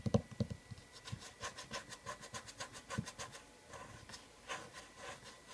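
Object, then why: Wooden object. A wooden object is tapped repeatedly at an uneven pace. A few dull, low knocks stand out at the start. They are followed by quieter, short, dry taps with a slight scratchy, rubbing edge that die away almost instantly.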